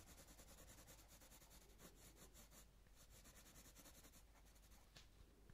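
A light green coloured pencil shades a leaf on a paper colouring book page in repeated rubbing strokes. It makes a quiet, steady scratchy rustle with a bright hiss over a soft low rumble, with slight rises and dips as the strokes change.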